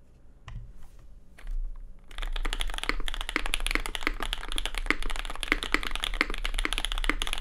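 A compact custom Cloudline mechanical keyboard with lubed SP Star Sacramento switches, a red case and white and red ABS plastic keycaps over an aluminium plate rests on a desk mat and is typed on with the fingertips of both hands. After a few scattered keystrokes over a faint low hum, steady, rapid typing starts at about two seconds, giving a dense run of short, crisp clacks with a bright edge that continues to the end.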